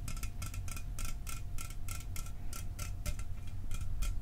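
A sealed, hollow 12 oz Mountain Dew aluminum soda can, held in one hand, is tapped with fingernails and fingertips in a quick, steady rhythm. Each tap is a short, bright tick with a faint metallic ring that dies away fast, over a steady low rumble.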